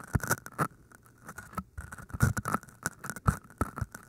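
Long painted nails tap and scratch the tops of two identical hand-sized, pale green floral foam cylinders made of solid porous foam, with microphones inside. The result is a quick, irregular run of dull, low, dry taps mixed with soft crackly scratching that dies away almost instantly.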